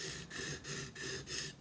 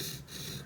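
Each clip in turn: First: Four quick gritty back-and-forth strokes with a bright hiss and a faint high edge: a steel chisel face on a whetstone. Second: A steady, gritty hiss of rasping friction as a chisel's soft iron face is ground on a whetstone.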